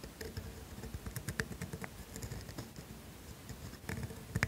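A pointed steel calligraphy nib in a black holder, held by a hand with long pink nails, writes cursive in black ink on a flat sheet of thin grid paper resting on a desk. Quiet, dry scratches and soft ticking taps follow the strokes, mostly low and muffled, with a few brighter scratchy clicks.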